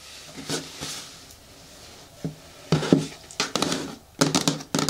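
Long nails tap and rub against the side walls of a green hard plastic bin with a lid. About nine irregular hollow taps with a low-mid resonance ring out briefly, mixed with bright scratchy rubbing between them.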